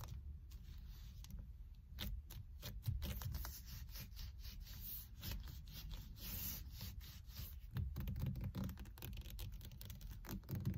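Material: Leather.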